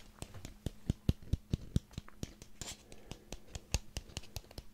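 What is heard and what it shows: Fingernails scratch the ribbed surface of a small ribbed orange pumpkin held near the microphone, making a quick, irregular series of short, dry scratching taps. The quiet taps have a low, thumpy body with faint bright scratchy edges that die away almost at once.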